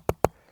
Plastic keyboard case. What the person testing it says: The whole case is plastic, but you can tell just by tapping it, there's a ton of padding in here.